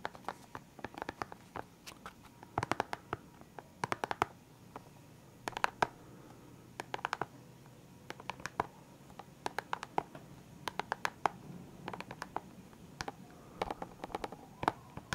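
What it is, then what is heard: Plastic pen case with markers. Fingertips and nails tap on the lid of a clear hard plastic pen case holding colored felt-tip pens, which sounds hollow and full. The quiet, dry, clicky taps come in quick irregular bursts with short pauses between, each one crisp with a mid-pitched knock and no ring.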